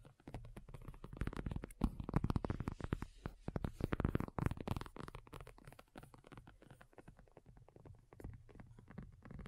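A black folding faux leather iPad cover, thin and hollow-backed, lies flat and is tapped and lightly scratched with long nails by both hands. The result is a dense, rapid flurry of soft, dull taps with a low, hollow thump and faint scratchy texture. It swells louder around the middle and then eases into quieter, steady tapping.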